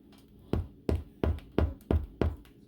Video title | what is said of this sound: *NO KNEAD* Crusty Bread! | nice and Hollow sounding tells me it's done